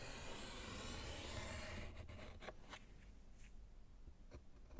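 A gloved hand scratches and writes with pink chalk on a small, solid handheld slate board in a wooden frame. A steady, bright, rasping scrape runs for nearly two seconds, then drops to quieter, sparse strokes and short chalk taps.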